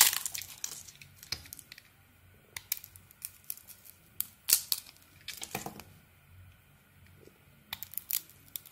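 A metal blade scrapes and carves slices off a solid, palm-sized, red glitter-coated bar of soap held in the hand, exposing its white inside and leaving shavings on the table. Crisp, bright crackling scrapes and short clicky cuts come in scattered bursts, each fading almost at once, with quiet gaps between them.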